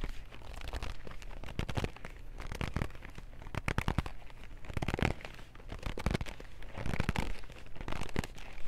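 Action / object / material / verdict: tap / cardboard box of wooden pencils / cardboard / none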